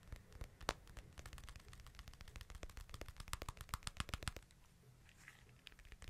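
Fingertips and nails tap and scratch the white/silver hard plastic case of a hand-sized smartphone held in both hands. Rapid, irregular, sharp clicks with dull low thumps fill most of the clip. Near the end the tapping gives way to softer scratching before a few last taps.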